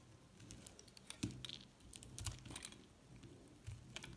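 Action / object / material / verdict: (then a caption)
scrape / soap bar scraped with a metal blade / soap / none. A metal blade scrapes along the edge of a thin slab of pink and white recycled soap, giving a quick run of soft, dry ticks and scratches. Brief louder scrapes stand out over a low, steady hum.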